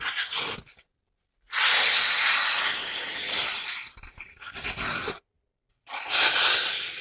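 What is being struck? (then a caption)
Floral foam brick. Long manicured nails press into and scratch the top of a large, rectangular, grey-green floral foam brick, solid and porous, resting on a wooden table. Bright, hissy crunching and scraping comes in three bursts separated by short silences as the foam is crushed.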